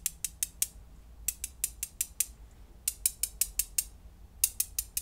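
Several small, solid blue glass gems are held between the fingertips of both hands and clicked and rubbed together above a pile of gems resting on bubble wrap. Twenty short, bright, high clicks come in quick bursts of four, six, six and four, each dying away almost instantly. A faint low hum sits underneath.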